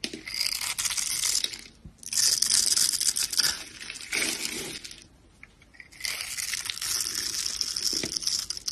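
A yellow box cutter blade scrapes across the scored surface of a solid light green oval soap bar held in the hand, shaving off thin slivers. Bright, crisp scraping comes in three long bursts separated by short quiet gaps, with fine crackling texture throughout.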